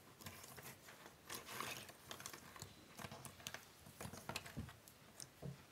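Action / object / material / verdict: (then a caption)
scrape / cardboard jigsaw puzzle pieces / cardboard / none. Flat hands with long nails rub and spread a large pile of small, thin cardboard jigsaw puzzle pieces across a wooden table. The result is a quiet, continuous papery shuffling, full of bright, crisp clicks and scrapes with occasional louder rustling bursts as the pieces slide over one another.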